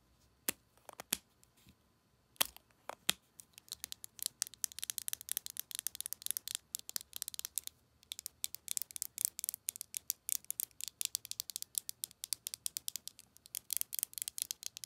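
A small, capped, rose-gold metallic lipstick tube, hollow and closed, is held in the hand and tapped and scratched along its barrel with long acrylic nails. A few sharp, isolated clicks open the clip, then give way to a dense, quiet stream of rapid, bright, dry taps and scratchy ticks with no ring.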